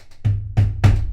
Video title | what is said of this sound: 09 Prep for UMG (Or How I Leaned to Stop Casting and Love Interfaces) Part 2 [UE4 - Survival Game] | tap it against my desk a couple of times it's empty as you can hear